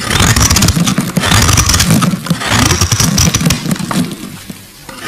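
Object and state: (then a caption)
Glycerin soap bar being carved. A solid translucent purple glycerin soap bar, held in the fingers, is scraped and carved with a metal blade as flakes fall away. The sound is a dense run of crisp, crackly scraping with many small bright clicks over a low, rough body. It stays loud and busy for most of the clip, then thins out and fades near the end.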